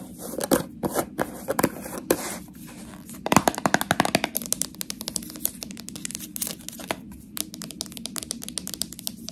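Long nails tap and scratch a small, full, clear plastic jar of purple "Fluffy Clouds" slime and its silver metal screw lid. The first few seconds bring scattered sharp clicks and scratchy, crinkling scrapes, then a dense run of quick, crisp taps with short bright clicks that die away almost instantly.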